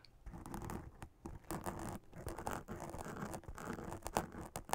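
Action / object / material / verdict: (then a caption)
scrape / glittery fabric witch hat / fabric / none. Long acrylic nails scratch over a hollow witch hat made of black fabric with a silver glitter spiderweb print and a sequin band. The result is a steady run of dry, rustling scratches and brushing strokes with a few brief pauses, mostly low and mid in tone, with little high sparkle and almost no ring after each stroke.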